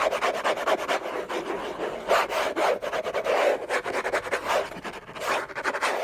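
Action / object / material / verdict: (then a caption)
scrape / cardboard box lid / cardboard / none. Fingertips and short nails scratch and rub hard across the textured surface of a large, flat, hollow orange Hermès cardboard box lid. The result is a dense, continuous rasping scrape centered in the midrange, with no low end, a thin bright hiss above it, and rough, uneven bursts of loudness throughout.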